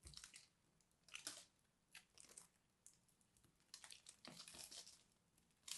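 A solid, crumbly, dried purple soap ball is held in the fingers while a knife blade scrapes and cuts pieces from it. Quiet, bright crunching and crackling bursts come and go as chunks of the crust break off, with short, dry gaps between them.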